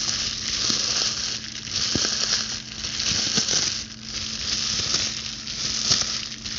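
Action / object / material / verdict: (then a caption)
scrape / plastic bubble wrap sheet / plastic / none. Long blue acrylic nails scratch and pop the bubbles on a clear plastic bubble wrap sheet held close up. A steady, bright, sizzling crackle fills the clip, swelling and easing in slow waves, with sharper pops and clicks breaking through now and then.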